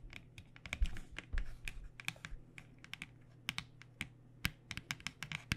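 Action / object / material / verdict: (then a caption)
tap / cardboard pen box / cardboard / none. Long nails tap quickly along the narrow edge and face of a cardboard box of paint pens. The result is a rapid, uneven run of sharp, bright clicks over a steady low hum.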